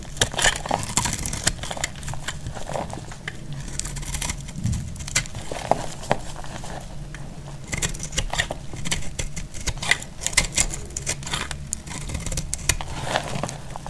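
A utility knife blade scrapes brittle flakes off a solid, hand-sized bar of dried blue soap held in the hand. The result is a steady run of dry, crackly scraping and crumbling, dense with short, sharp ticks and bright crisp edges over a low rumble, with a few louder bursts along the way.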